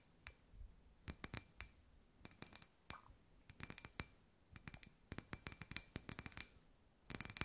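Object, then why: Hollow glass sphere lamp. Long white nails tap quickly on a hand-sized, hollow, clear glass sphere lamp with fairy lights inside. Bursts of sharp, bright clicks come with very short ring and a faint glassy tone, separated by quiet pauses, and ending in a dense flurry.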